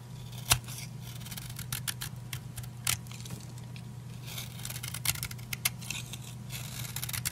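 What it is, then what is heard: Dry soap bar being cut. A solid purple oval bar of old, dry soap, held in the hand, is cut and scraped with a utility knife blade in repeated strokes. Sharp, bright crunching cuts and scratchy scrapes come over a steady low hum, with the loudest snaps near the start and middle.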